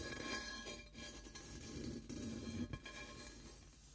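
A large, hollow, empty, smoky-white frosted quartz crystal singing bowl is held in both hands while fingertips and short painted nails rub and tap along its outer rim and sides, with the mallet left unused. The result is quiet, dry scraping and light tapping over faint steady tones, with no sustained singing ring building up.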